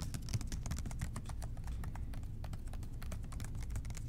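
Fingertips tap rapidly on the sides of a large, hollow blue plastic spray bottle with a white trigger. The taps are soft, quick clicks over a dull, hollow low thump, running as a steady, continuous patter.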